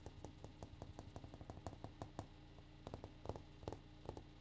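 A granite countertop is tapped in a quick, uneven rhythm, giving about nineteen short, dry knocks that stop almost instantly. The taps are soft and sit over a steady low hum.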